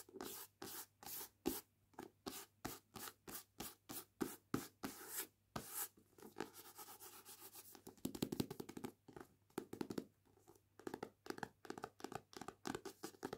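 Long nails and fingertips scratch and rub across the back and front glossy card covers of a solid paperback novel. Evenly spaced, short dry scratching strokes come first, then turn into faster, denser rubbing and scratching with a bright, papery hiss and almost no ring.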